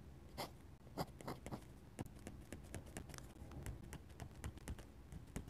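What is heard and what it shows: A steel dip pen nib scratches lines and taps stipple dots on a flat paper sketchbook page. The sound is a quiet, steady run of short, dry ticks and brief scratchy strokes, some with a bright edge, over a faint low rumble.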